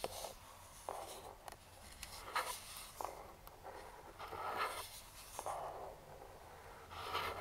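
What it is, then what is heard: Cardboard product box, tapped and scratched. Pointed metal claw finger rings tap and scratch a hollow printed cardboard speedlite box lying flat. Sharp, hollow taps alternate with bright, papery scratching strokes across its surface.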